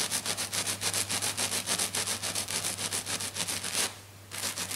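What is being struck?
Glitter sheet scratched with fingernails.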